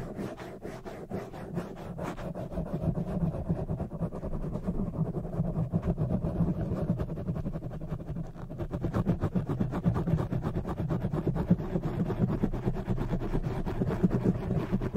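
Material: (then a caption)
Foam. Long jeweled fake nails and fingertips scratch and rub the surface of a black oval foam windscreen on a microphone. The result is a dense, rapid run of low, muffled scratching and rubbing strokes with a steady rumble and very little high end.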